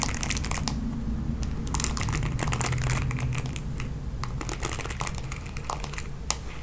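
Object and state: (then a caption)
Plastic paddle hairbrush being scratched. Long nails scratch across the bristle pad of a red plastic paddle hairbrush. The result is a dense, irregular stream of bright, crackly scratches and clicks over a steady low rumble, with one sharper click near the end.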